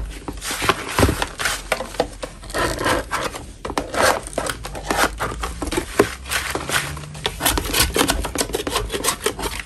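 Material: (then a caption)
Chalk. A solid lump of natural chalk, held in a gloved hand, is scraped with a metal spatula. Dense, gritty scraping and crumbly scratching come in quick, uneven strokes, with bright rasping edges and short dry bursts that stop abruptly.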